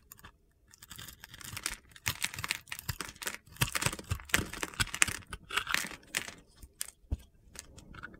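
A utility knife's metal blade carves the scored surface of a solid, hand-sized teal and green glittery soap bar, held in the palm, into small cubes. The cuts make a quick run of bright, crunchy, gritty scraping bursts with very short decay.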